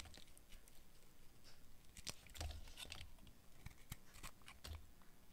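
A utility knife blade cuts and scrapes curled pieces off a hand-sized, solid red bar of dry soap with a dark coated rim, held in one hand. Soft, dry crunching and scraping strokes come in quick, bright bursts over a quiet low rumble, each cut ending abruptly with almost no ring.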